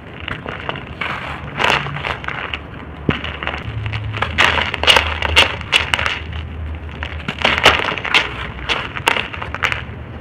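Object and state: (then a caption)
Dry soil lumps crumbling. Cup-shaped lumps of dry red soil mould are broken and squeezed in the hand, then the dust and crumbs are poured out. Dense, bright crunching and crackling comes in irregular bursts over a soft, gritty rustle. Short, dry snaps stand out throughout.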